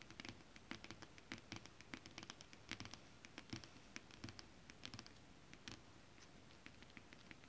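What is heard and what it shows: Long acrylic nails on both hands scratch and tap across a flat sheet of shiny holographic mermaid scale-printed fabric. Quiet, irregular, crisp ticks and brushy scratches come in bursts, with bright clicking edges over a soft low thump, and each sound dies away almost at once.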